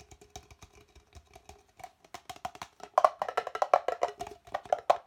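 An empty, hollow red plastic party cup, held upright and then upside down, is tapped on its sides with fingertips and nails. About 23 quick, irregular taps give short, dry, hollow clicks with a mid-pitched tone around 630 Hz. They start soft and grow louder and busier after about three seconds.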